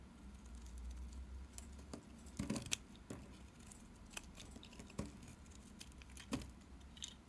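A solid pink NIVEA bar soap, held in the hand, is shaved with a utility knife blade so curls peel off. Quiet, bright scraping and crisp cutting clicks come in scattered bursts over a low background rumble, with a few sharper snaps standing out.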